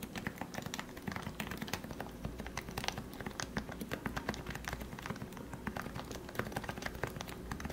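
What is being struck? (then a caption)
Plastic Topre keyboard. Fingertips type steadily on a plastic Leopold FC660C Topre keyboard with 45g switches that have been lubricated. The result is a fast, continuous run of soft, muted keystrokes with short thocks that decay quickly, plus a low underlying hum.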